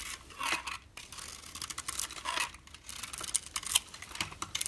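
A utility knife blade shaves and scrapes the speckled coating off a solid pink bar of soap held in a hand with red nails. Dry, crunchy scraping comes in rapid, bright bursts with almost no low end, each stroke stopping short with no ring.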